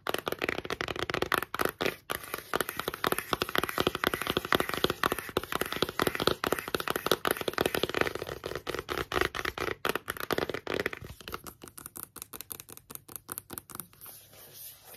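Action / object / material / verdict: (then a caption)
tap / cardboard eyeshadow palette / cardboard / none. A closed, flat rectangular cardboard eyeshadow palette with a glossy printed sleeve is held in both hands and tapped and scratched with long yellow-painted nails. A fast, dense stream of crisp, dry taps and scratchy rustles fills the first eleven seconds, centered in the midrange with bright edges. It then thins into sparser, quieter taps and light scratching.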